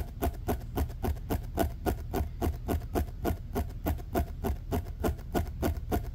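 A fingertip presses and flicks a short, compressed, bent orange ribbed plastic pop tube lying on a fleece blanket. It makes 21 quick, dull tapping pops at a fairly steady pace of about three or four per second. Each pop is short and low-heavy, with a faint rustle and low rumble between them.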